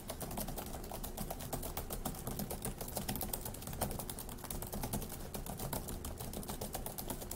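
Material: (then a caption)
Plastic. Fingertips of both hands type fast on the plastic keys of a dark grey laptop keyboard. The result is a dense, steady stream of quick, bright clicks over a low, soft thudding underneath.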